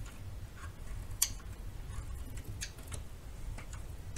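A metal knife cuts and shaves small chunks off a narrow piece of solid yellow bar soap. Short, crisp, bright ticking snaps and scrapes come over a quiet low rumble, with the sharpest crack early on.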